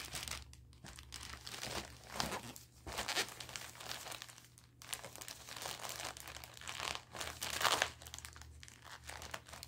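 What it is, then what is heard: Plastic diaper package crinkling. A large, soft, full package of Confidry 24/7 adult diapers in thin printed orange, green and white plastic film is held up, then laid on a carpet while fingertips and nails rub, squeeze and pick at its top seam. The thin plastic gives off bright, dense crinkling and crackling in uneven swells, with short, sharp crunchy bursts and no lingering ring.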